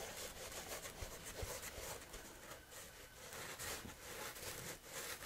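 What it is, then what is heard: Rough woven fabric. Several fingertips rub and scratch across a flat sheet of coarse woven fabric. The result is a quiet, continuous scratchy rasp with bright hiss and rhythmic swells as the strokes repeat, plus faint low thumps underneath.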